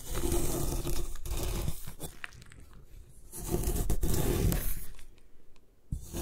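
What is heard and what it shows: A metal putty knife shaves and scrapes the side of a palm-sized, solid white block of compressed magnesium carbonate gym chalk held in one hand, with a few loose plastic bead bits nearby. Dense, gritty crunching and scraping comes in two louder stretches with quieter, sparser scrapes between, heavy in low rumble. The chalk comes off in powdery flakes.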